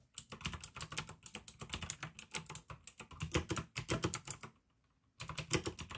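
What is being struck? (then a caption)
Plastic mechanical keyboard. Fingertips type on a pink plastic AUKEY mechanical gaming keyboard with blue switches, producing rapid, crisp clicky keystrokes with bright clacks and a soft low thud beneath each press. Typing runs steadily, pauses briefly near the five-second mark, then resumes to the end.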